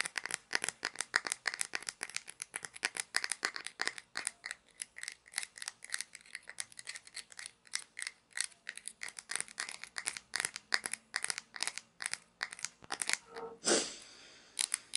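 Long nails scratch and flick the edge of the grey wheel on a small plastic toy pizza cutter with a red handle, then spin the wheel. A rapid stream of dry, bright plastic clicks and ticks runs throughout, each dying away almost instantly. Near the end, a louder scraping whir is followed by a soft fading hiss.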